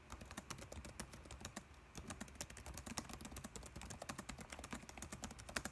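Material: Plastic.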